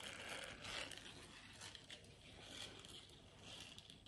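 Long nails scratch and rub across a small, flexible, round blue silicone scrubber pad with a bristled texture. The result is a continuous, bright, dry rasping with soft crackly ticks and gentle swells in loudness.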